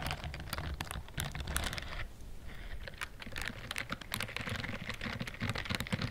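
Long nails scratch quickly across the bristled palm of a pink-white silicone dishwashing glove with bristle pads, held upright. The result is a dense run of crisp, dry scratching clicks with bright crackle over a low rumble, and a brief softer lull in the middle.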